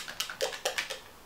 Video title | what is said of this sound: Shopping The Stash - I Covet Thee Blog | It's one of the ones with the little ball